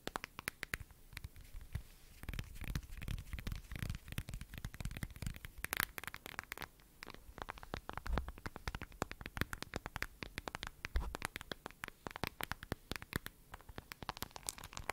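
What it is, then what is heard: Smartphone in a plastic case. Long nails tap and scratch the back of a lavender, glossy plastic case on a smartphone held close to the mic. The result is a dense run of sharp, bright clicks and scratchy rasps over a soft, low rumble, with slightly louder bursts of tapping in places.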